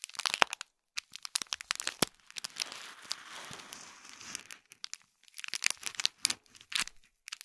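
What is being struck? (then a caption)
Small foil-wrapped box in plastic film. Fingertips and nails scratch and crinkle the top of a small gold foil-wrapped cube gift box in plastic film. Bright, crisp crinkles and sharp ticks come in bursts, with a softer, continuous hissing scratch through the middle and brief quiet gaps between. There is almost no low end, and each crackle stops dead with no ring.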